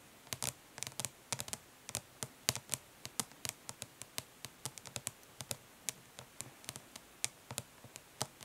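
Long pink nails tap fast on a closed, flat plastic eyeshadow palette lying printed lid up, its hollow case answering each strike. About 38 quiet, sharp, bright clicks come in quick uneven bursts, each dying away almost instantly.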